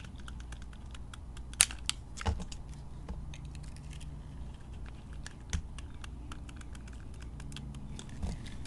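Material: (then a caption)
Soap. A metal blade carves chunks from a solid white bar of soap with green glitter, producing a steady stream of dry, crisp clicks and crackles. A few sharper snaps stand out over a constant low rumble.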